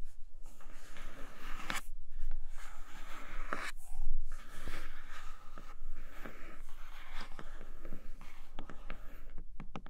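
Fingernails gently tap and scratch the flipped side of a flat grey cardboard Nomad box with a clear plastic window. Soft, dry scratching runs throughout, broken by faint taps and brief scrapes over a low, steady hum.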